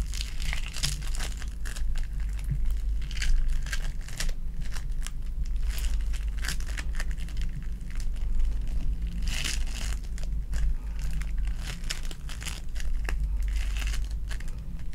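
A palm-sized lilac foam bead clay ball is squeezed and pulled apart with fingers and long nails, giving a dense, continuous run of crinkly, crackling bead sounds with bright, sticky tearing bursts. A steady low hum sits underneath the whole time.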